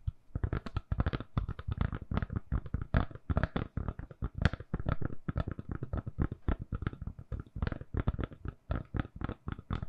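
Long nails tap rapidly and steadily on the back of a lilac silicone-covered phone case on a phone, hand-sized and solid, held in both hands. The taps are soft, dull thuds with muted, low-heavy body and faint clicky edges, each dying away almost instantly in a continuous patter.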